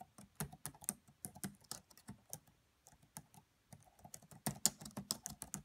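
Long manicured nails and fingertips of both hands rapidly tap the black plastic chiclet keys of a red laptop with a hollow body. The quiet typing is a stream of short, crisp, bright clicks and taps with a soft low thump under each, and a brief lull before it resumes.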